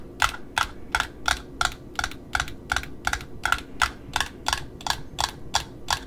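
Long metallic nails tap and scratch on the glossy wound side and the cardboard disc of a small spool of black satin ribbon. A steady run of short, dry, clicky taps with a mid-pitched knock and bright edges, each dying away almost at once, repeats at about two to three per second over a faint low rumble.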